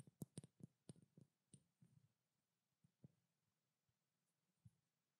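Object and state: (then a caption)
Small glass oil bottle tapped with fingernails. Long black nails tap and lightly scratch a small glass treatment oil bottle with a blue label and a silver cap. Quiet, dry, low clicks with almost no ring come in a quick cluster over the first two seconds, joined by faint bright scratching. A few sparser taps follow amid near-silence.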